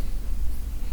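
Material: Nothing is struck.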